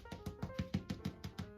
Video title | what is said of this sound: STUFFED BREAD | it sounds hollow we're good